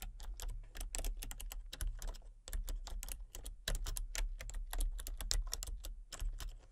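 Fingertips and long painted nails type rapidly on a full-size backlit plastic RGB computer keyboard with hollow key switches and colour-cycling lights. The result is a dense stream of sharp, bright, short clacks over a steady low hum, with a few brief pauses between bursts.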